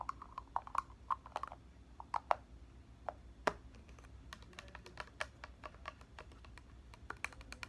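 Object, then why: Plastic spray bottle with liquid. A tall plastic body mist bottle of red liquid with a clear plastic cap, hollow and filled, is held in one hand and tapped with the fingernails of the other on the cap and the body. The result is a quiet, irregular run of short, sharp clicky taps, some with a brief hollow tone around 1 kHz, that die away almost instantly.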